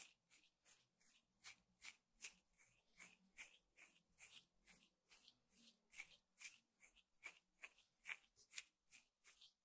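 Medium-length nails scratch along the woven strands in the middle of a flat square woven rattan table mat. It makes a quiet, rapid and slightly uneven series of short, dry, bright rasps with almost no low end. Each stroke stops abruptly with no ring.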